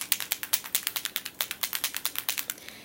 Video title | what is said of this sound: Lori G Ashley facts and pricing. | They have ball bearings in their makeup. I'm going to shake it so that you can hear the ball bearings.